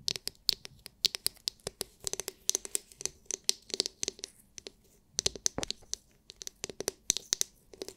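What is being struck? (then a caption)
Hard clear plastic massage brush with glitter-filled dome. Long nails scratch and tap rapidly on the hard, clear, glitter-filled plastic dome of a palm-sized oval massage brush. The result is dozens of sharp, dry, bright clicks with scratchy rasps between them and almost no low end. The taps come in uneven bursts with short pauses.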